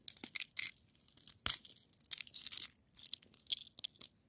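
Long nails scratch and pick at a solid, crystalline frozen snow crust, making crisp, bright crunching and gritty scratching bursts. The short, dry bursts come in quick irregular clusters with almost no low end and no ringing.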